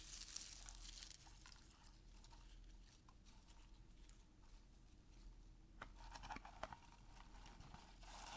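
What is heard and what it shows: Fingers scratch and lift loose brown crinkle-cut paper shreds in a small open cardboard box, making a steady, soft crinkling rustle with a bright hiss over a low hum. A few sharper crackles stand out near the end before the rustling swells again.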